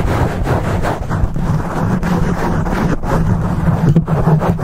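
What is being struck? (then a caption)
Foam microphone windscreen. Fingers of both hands scratch and rub the top and sides of a black foam microphone windscreen, making a dense, muffled rumbling scrape. The sound is heavily bass-weighted, with a steady low hum near 156 Hz and almost no high end. Brief dips in the rubbing break up an otherwise continuous roar.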